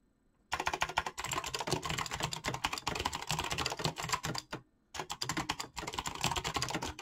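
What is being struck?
Mechanical keyboard with PBT plastic keycaps.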